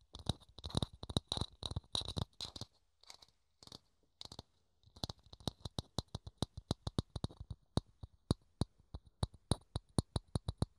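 Fingertips scratch and then tap a small, hollow, thin clear plastic dome held in the hands. Dense scratching bursts open the clip, thin out after a brief pause, and give way to a steady run of sharp, quick-fading taps with a hollow low body and a bright click on top.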